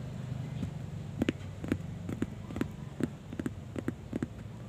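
Fingertips with short nails tap on the top face of a thin, empty, hollow-fluted sheet of brown corrugated cardboard lying flat on a white surface. Thirteen quick, dry taps land in uneven pairs and singles, each a short hollow thump with a faint bright click that dies almost instantly. A steady low rumble runs underneath throughout.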